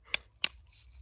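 Pieces of wood charcoal from a first burn are knocked together, giving two sharp, bright clinks with almost no low end and very little ring. The crisp, high tone marks the pieces as properly carbonized, real charcoal.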